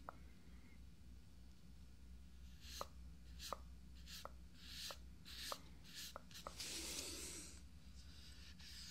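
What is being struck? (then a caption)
Fiberglass dummy head. Fingertips of both hands tap quickly around the eyes and forehead of a life-size hollow fiberglass binaural dummy head microphone with makeup on its face. Short, dry, clicky taps come at uneven intervals, each with a bright, airy hiss. A soft rubbing swell near the end sits over a steady low hum.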